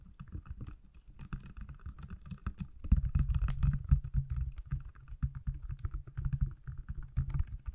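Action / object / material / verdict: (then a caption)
tap / smartphone in a silicone case / silicone / none. Fingertips and nails tap rapidly on the back of a small, solid iPhone in a pale silicone case held in front of the microphone. The result is a quick, uneven patter of short, muffled, low thuds with almost no ring, growing a little louder partway through.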